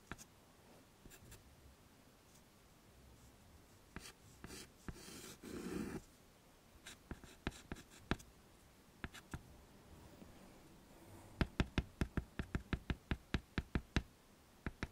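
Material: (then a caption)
Chalk. A hand draws facial features with a white chalk stick on a wood-framed chalkboard, making short scratching strokes and sharp, bright taps against a quiet background. A longer rough scrape comes about a third of the way in, and the clip ends with a quick, rhythmic run of tapping strokes.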